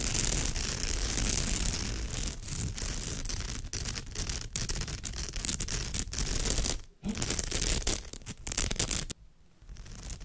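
Long almond-shaped nails on both hands scratch the surface of a woven straw or raffia bag. The result is a dense, continuous rasping scratch with a bright, hissy top and a low rumble underneath. It pauses briefly near 7 seconds, then goes quiet for about half a second just after 9 seconds before the scratching resumes more softly.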